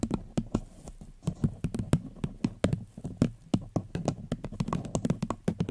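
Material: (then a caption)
Paper. A paper cup is gently tapped with the fingertips right on the microphone, giving a quick, uneven series of soft, dull taps. Each tap is a short, muted thump with most of its weight in the low end and almost no ring.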